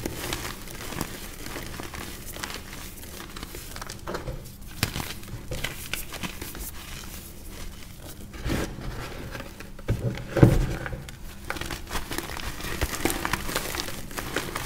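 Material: Cornstarch.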